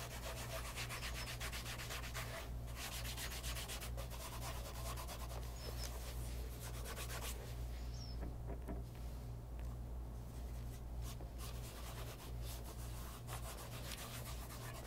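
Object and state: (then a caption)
Leather loafer being rubbed with a cloth. A light brown pebble-grain leather loafer fitted with a wooden shoe tree is held in hand and rubbed with a white polishing cloth wrapped over the fingertips. The result is a continuous, even, brushy rubbing with soft bright scratchy strokes over a steady low hum.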